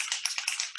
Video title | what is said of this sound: REF Stockholm Care & Style LIVE ZOOM w/ Jesse & Krista | I'm gonna shake it and I wanna hear that paint can sound